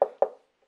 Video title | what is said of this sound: jamie benton jones tv presenter showreel for Homebase | the sound becomes more dead when I'm right above the stud